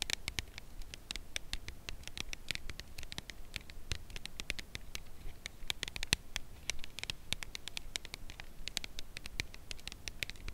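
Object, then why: Cardboard chocolate box. A full red Lindor cardboard chocolate bar box is held edge-on and tapped and scratched with long nails along its side. The result is a steady patter of quick, dry, bright clicks with soft scratching between them and almost no ring.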